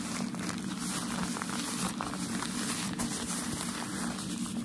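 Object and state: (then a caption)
Tissue packaging paper. A folded bundle of white tissue shoe-packaging paper is held in both hands while fingers squeeze, rub and crinkle it. A steady, dense crackling rustle runs throughout, with a warm low-mid body and bright, papery hiss on top and only small swells in level.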